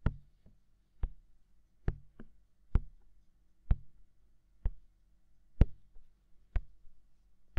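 Fingertips tap the hollow, mounted white silicone ear of a binaural microphone. About ten soft, dull thuds land roughly once a second at a slightly uneven pace, deep and muffled with almost no ring, over a quiet low hum.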